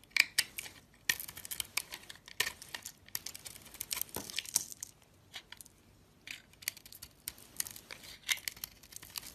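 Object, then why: Bar of soap. A hand-sized solid peach-pink soap bar with a glittery pink coating is held in the hand while a metal box-cutter blade shaves and peels off slices of it. Dry, crisp scraping and crackling comes in short bursts with brief pauses, bright and high with almost no low end.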